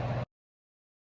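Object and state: Nothing is struck.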